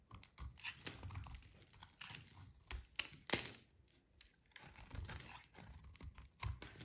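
A solid, hand-sized bar of dry pale yellow soap is held in one hand and shaved along its edge with a short metal blade, breaking off brittle flakes. Quick, dry scraping and crackling cuts come in irregular bursts, with bright crisp edges and soft low thuds underneath. The sound stops and starts between strokes, with a few sharper, louder scrapes standing out.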